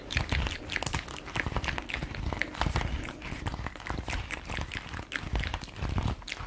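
A small, palm-sized yellow spiky massage ball made of rubber or soft plastic, probably hollow, is held in the hands and tapped, scratched and rubbed with long nails and fingertips. It produces a dense, rapid stream of crisp clicks and scratchy crunches over soft, low thumps, with no ringing between strokes.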